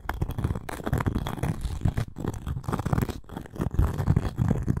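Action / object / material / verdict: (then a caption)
scrape / round cork coaster with a wooden rim / cork / none. Long nails scratch the cork face and edge of a round cork coaster with a wooden rim, handled up close. The result is a dense, continuous, low, muffled scratching and rustling, with a few brief pauses between strokes.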